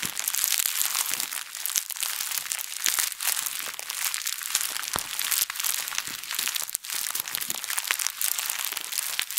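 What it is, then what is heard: Plastic bag being crumpled. A thin plastic bag is wadded and squeezed in both hands, twisted and crumpled. It makes steady, bright, crisp crinkling with dense crackles and sharp snaps and almost no low end. The rustle runs without a break for the whole clip.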